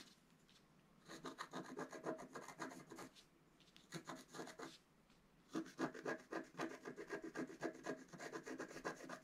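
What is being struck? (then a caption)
Black coated scratch art card with wooden stylus. A wooden stylus scratches fine lines into the black coating of a flat scratch art card resting on a table. It makes quick, dry, rasping strokes in three bursts separated by short quiet pauses, with a longer run of rapid scratches at the end. The strokes are soft and papery, with no ring after each one.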